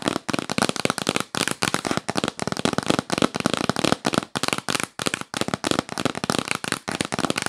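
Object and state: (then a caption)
Cardboard gift box. A yellow printed cardboard gift box, held upright, is tapped quickly with long nails. The result is a rapid, dense run of sharp, dry, crackling taps with short bursts and brief pauses, and each tap dies away almost instantly.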